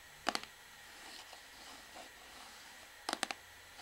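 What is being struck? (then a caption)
Plastic shampoo bottle. Long fingernails tap and scratch the back label area of a hollow, orange plastic Sunsilk shampoo bottle. Two groups of three quick, bright, dry clicks, six in all, open and close the clip. Between them comes soft, faint scratching.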